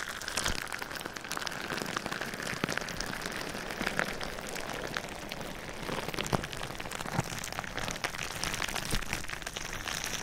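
Clear plastic bubble wrap covering a binaural ear microphone is scratched and tapped with fingernails. The result is a steady, dense crinkling rustle, bright and broadband, scattered with many sharp little ticks and taps that stop almost instantly. The level stays fairly even across the whole clip.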